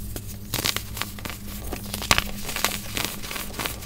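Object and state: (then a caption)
Compressed baking soda chunks being crumbled. Solid chunks of compressed white baking soda are squeezed and crumbled between bare hands and fingers over a steel bowl of loose powder, crushing and rubbing. The result is soft, bright crinkling and crunching with a few sharper, louder crackles, over a steady low hum.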